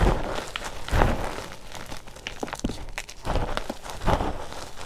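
Bare hands squeeze, press and rub a powdery pile of crushed gym chalk (magnesium carbonate) soaked in baby oil in a green bowl. The result is a soft, muffled, mostly low crunching and crumbling, with a few brief brighter crackles as the crumbs give way.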